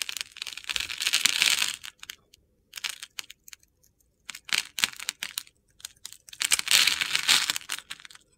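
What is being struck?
Bar of soap.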